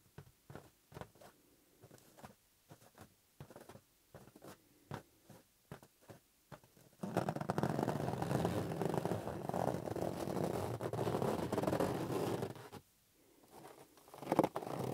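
Fingertips tap a hollow, green inflated latex rubber balloon in short, dull, irregular taps with quiet gaps between them. At about seven seconds the fingertips switch to scratching, giving a dense, steady rubbery rasp for roughly six seconds. After a brief silence, both hands take hold of the balloon and produce a few soft squeaks and rubs, ending on a louder grab.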